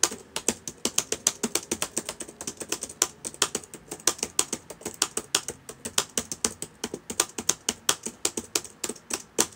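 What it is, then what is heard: Plastic laptop keyboard. Fingertips of both hands type on the plastic keys of a black laptop with a hollow body, sitting open on a table. About fifty quick, bright clicks come in a steady, slightly uneven run, each short and dry with almost no ring. There is very little low end, just a faint background hum under the tapping.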